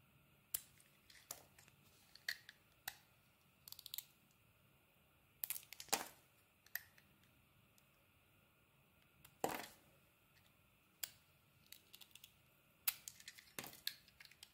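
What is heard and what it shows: A steel utility-knife blade carves and scrapes thin slices off a hand-sized, solid pale green soap bar with a blue-grey layer, held in the palm. Short, dry, bright shaving and scratching strokes come in an irregular series. Each stroke stops almost at once, with quiet pauses between them.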